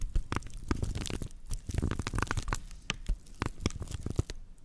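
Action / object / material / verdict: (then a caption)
scrape / woven straw plate / straw / none. Long nails scratch across the coiled weave of a flat woven natural-fiber straw plate, held in both hands with its base facing the mics. The result is a dry, rough crackling and crunching, with a steady stream of short, sharp scratches over a low, rumbly body.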